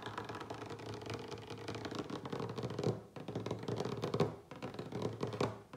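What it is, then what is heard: Wooden tabletop tapped with fingertips. A solid wooden tabletop is tapped quickly with the fingertips and short nails of both hands, making a dense, continuous patter of short, dry knocks. Most of the sound sits in a warm low-mid range with little high content, and each tap dies away almost at once. The flurry pauses briefly just after three seconds and again near four and a half seconds, with louder bursts around three, four and five and a half seconds.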